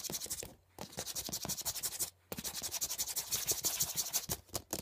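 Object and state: Plastic CD case scratched and tapped with nails.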